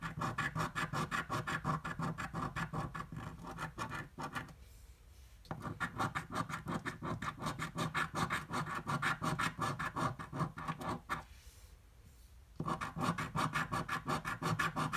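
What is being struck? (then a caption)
Paper scratch-off lottery ticket scraped with a coin. A red-green paper scratch-off lottery ticket lies flat on a dark table and is scratched repeatedly with the edge of a metal coin held in the fingertips. Fast, rhythmic rasping strokes run throughout, broken by two brief quiet pauses.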